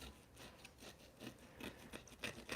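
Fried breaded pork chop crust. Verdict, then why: Crispy. The crust of a fried breaded keto pork chop is scraped and rubbed, giving a series of dry, crackly rasping strokes with crisp high-frequency crunch. The crust is insanely crispy and the chop is perfectly cooked.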